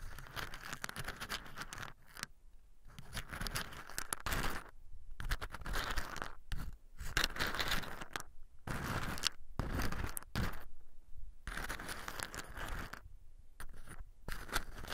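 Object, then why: In-shell pine nuts in a wooden bowl. A round wooden pestle-like tool stirs and presses hard, brown in-shell pine nuts in a light wooden bowl while a hand steadies the bowl. Bursts of scraping, crunching and rattling shells repeat with brief silent pauses between them.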